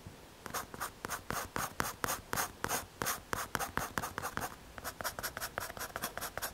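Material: MDF.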